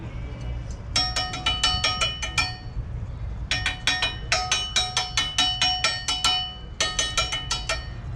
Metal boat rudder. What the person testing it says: a good bell tone that tells us that we've got good metal left on this